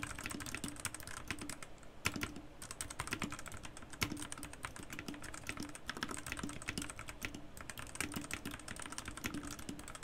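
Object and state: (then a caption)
Plastic mechanical keyboard. Fingertips type fast and continuously on a white Garuda Gear GG68B wireless 65% RGB mechanical keyboard with plastic keycaps. A dense stream of short, crisp clacks has bright tops and a low, hollow body, with a few sharper, louder strokes standing out.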